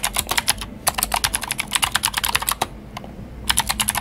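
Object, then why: Plastic mechanical keyboard. Fingertips of both hands type on a Glorious GMMK White Ice, a full-size white mechanical keyboard with plastic keycaps and clicky Gateron Blue switches. Rapid, bright, crisp clicks come in quick bursts, with a short break just before one second and a longer pause from about 2.7 to 3.4 seconds. Each click is sharp and dies away almost instantly.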